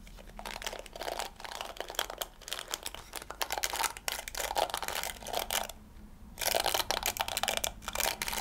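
Fingers and nails rake across the yellow plastic bristles of a round pink plastic scalp massager held up close. The result is bright, dense bursts of crackly, clicking scratches that come in rapid strokes. There is a brief quiet pause just before the scratching resumes near the end.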